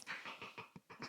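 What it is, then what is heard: Cheap plastic sunglasses frame. Inexpensive plastic cat-eye sunglasses with no branding are tapped in a quick run of light, bright clicks with almost no low end and a short ring. The thin, hollow plastic sound shows how cheap and flimsy the frames are.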